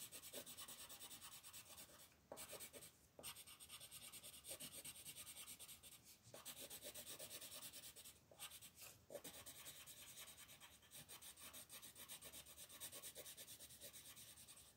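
A blue colored pencil tip rubs a thin, flat paper coloring page in short shading strokes near the top of the page. The result is a steady, bright, scratchy rustle of quick strokes, broken by a few brief pauses.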